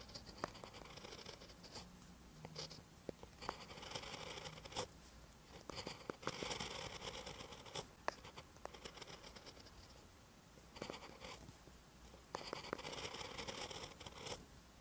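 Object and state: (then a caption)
Pen writing on notebook paper. A ballpoint pen tip writes on a lined paper notebook page, making quiet scratching strokes. Bursts of bright, rasping scratches alternate with softer stretches and occasional sharp ticks as the pen moves across the paper.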